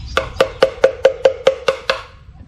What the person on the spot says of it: เมื่อเจาะรูแล้วเมื่อตีไม้ลงไปจะมีส่วนดังและส่วนเบาๆ